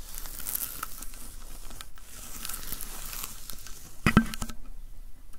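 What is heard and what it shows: Fingertips and palms pat and rub the sticky paper roll of a handheld lint roller with a white plastic handle, producing a steady run of soft tearing and crinkling peel sounds. Near the end, a sharper, louder peel stands out before the sound thins to a quiet tail.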